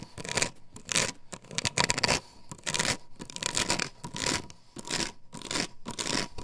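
An upright plastic stencil template glued to a wooden board is scratched quickly with long nails. The result is bursts of bright, dry scraping that start and stop, some more aggressive and some gentler. A faint steady tone runs underneath.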